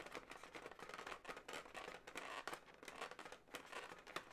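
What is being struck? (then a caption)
Inflated latex balloon animal. Long nails scratch and squeeze a hollow, inflated blue latex balloon dog. The result is a quiet, continuous run of rapid squeaky rubbing and scratchy crinkling strokes that pulse unevenly. The sound is mostly mid-range and bright, with almost no low end.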